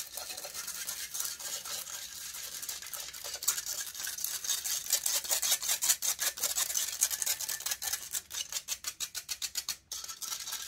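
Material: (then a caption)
Metal mesh. Long nails scratch the hollow metal mesh grille of a large silver condenser microphone. The result is a bright, hissy rasp of rapid scratching strokes, dense and continuous at first, then breaking into quick separate strokes toward the end with a brief drop to near silence just before the final burst.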